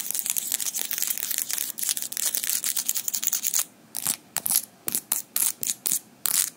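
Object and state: Metal fingerpicks clicked together.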